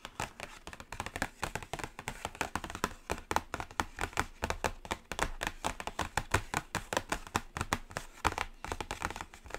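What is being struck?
Cardboard eyeshadow palette box.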